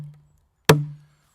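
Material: Chestnut wood.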